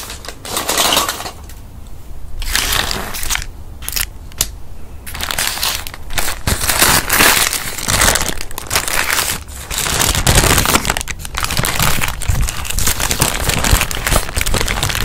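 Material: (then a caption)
Paper. A hand-sized printed white-and-red paper wrapper around a fast-food burger is crinkled, folded and crumpled by both hands' fingertips as it is unwrapped, with the burger not yet exposed. Dense, continuous crackling and crunching paper rustles fill the clip, bright and noisy, with a steady low rumble underneath.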